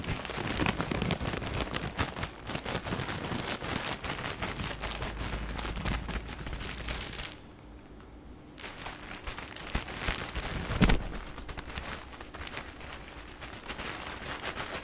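Fingers and fingertips crinkle and press the clear plastic film wrapped around a full pack of tissue paper, making dense, bright crackling. After about seven seconds the crinkling drops to a brief near-quiet pause, then resumes, with one sharper, louder crackle near eleven seconds before it settles back into steady rustling.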